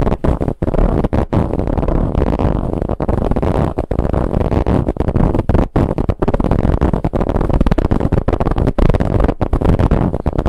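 Long nails of both hands scratch vigorously at a large, soft, dark stuffed pillow with a striped, textured fabric cover and a zipper seam. The result is a dense, continuous rough scratching and rustling, heavy in the low end, broken only by brief pauses between strokes.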